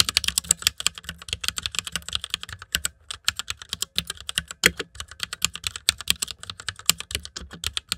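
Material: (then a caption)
Plastic. Fast fingertip typing on a white mechanical keyboard with plastic keycaps resting on fur. About sixty short, bright, clicky key taps come in quick bursts with very little ring, plus a brief pause near the three-second mark.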